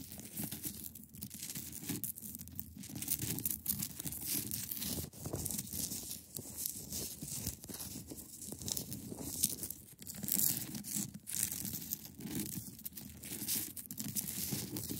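Long acrylic nails scratch across the top surface of a large, solid, clear ice block. The result is a steady, dense, bright scratching and crackling texture over a low, grainy undertone, with brief pauses between strokes and no ringing.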